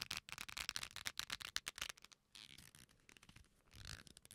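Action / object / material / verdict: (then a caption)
scrape / leather belt with metal buckle / leather / none. An old dark leather belt with a metal buckle is held in both hands close to the microphones and folded and bent, so the leather creaks and rubs against itself. A quick, uneven run of sharp, bright creaks fills the first two seconds, followed by softer, longer rubbing swells. Faint metal clinks from the buckle may also be heard.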